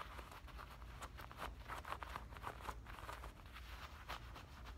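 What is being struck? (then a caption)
Denim shorts waistband. Fingernails scratch the fabric of black denim shorts at the waistband and along the tops of the pockets. The result is a quiet run of short, dry, bright scratchy strokes over a steady low rumble.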